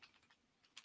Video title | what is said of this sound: LEDA DAY 10 | you could shake it not hear a single thing whereas this one you could shake it and you can hear quite well